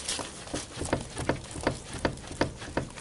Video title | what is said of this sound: 2004 Ford Explorer Upper Ball Joint and Control Arm | there's some clicking noises going on in there, so there are some thunking noises, and indeed the upper ball joint needs to be changed